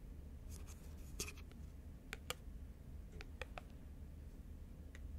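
Long nails tap and scratch a thin, small, round clear plastic lid held in both hands. Quiet, bright clicks with very short ring and brief scratchy rasps sit over a steady low hum.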